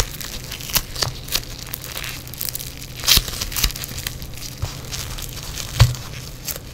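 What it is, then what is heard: Foam bead clay, crunchy. A lump of yellow foam bead clay is held and squeezed between fingers in black nitrile gloves. It makes dense, irregular crunching and crackling with sharp bright pops standing out over a steady low rumble.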